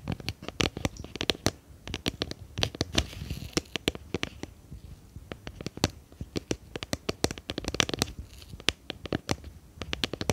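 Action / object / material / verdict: tap / small clear plastic tub with lid / plastic / none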